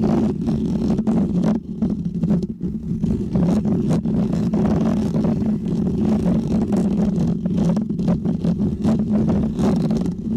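Short painted fingernails on both hands scratch continuously across the textured mesh of a small, round, hollow white microphone head held up close. This produces a steady, loud, low rumbling drone around 200 Hz, broken by dense rapid scratchy ticks and brief soft dips.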